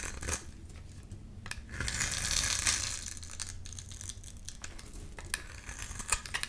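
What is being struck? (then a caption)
Glycerin soap bar. A solid, clear glycerin soap bar with a grid-scored face is held in the palm and shaved with a utility-knife blade, sending white flakes off. Crisp, bright scraping and crinkling strokes come in a quick, uneven series, swelling into a longer, denser shave in the middle before breaking into sharper short scrapes toward the end.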